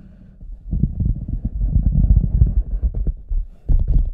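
Fingertips scratch and rub the toe and front of an empty, oversized, hollow red rubber boot. The result is a deep, muffled run of low thumps and rumbling scrapes with almost no high end, building after a quiet start and briefly dipping before a final loud burst.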